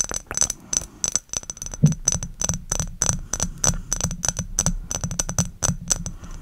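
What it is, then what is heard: Glass perfume bottle. Long acrylic nails tap and scratch a clear, thick-walled, rectangular glass perfume bottle with a silver metal cap, close to the microphone. Quick, crisp clicks follow one another in an uneven rhythm, each carrying a short, bright glassy ring high in pitch, with a low steady hum underneath.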